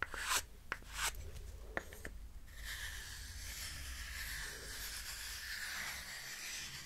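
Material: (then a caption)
Wood. Long painted fingernails scratch a small, solid, light-wood hexagonal block held in one hand, close to the mic. Four sharp, bright scratches come first, then a steady, hissy rubbing that fills the rest of the clip.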